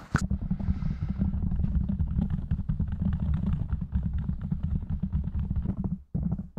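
Fingertips of both hands rapidly tap and scratch a soft, porous black foam windscreen covering a silver condenser microphone. A dense stream of muffled, low thumps is layered with a scratchy rustle, opening with a brief bright click. The sound drops to near silence just before the six-second mark, then the tapping resumes.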